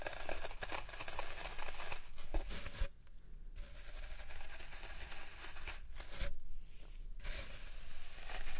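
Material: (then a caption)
Floral foam. Fingertips and nails press and poke into the dented top of a large, solid green floral foam brick resting on a wooden tray. Soft, dry crackling and crinkly crumbling come in steady bursts over a low rumble, with brief quieter pauses between the presses.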